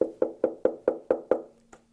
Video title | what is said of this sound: Talkin Shh I t | when you tap on it clearly a hollow body